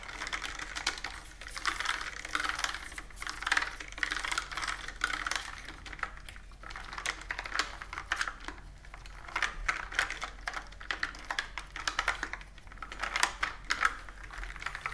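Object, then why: Plastic computer keyboard. A plastic computer keyboard with round keys is typed on quickly with long nails. It makes a dense, continuous stream of sharp, bright clicks and clacks centered around 1.3 kHz, with brief pauses between bursts over a faint steady low hum.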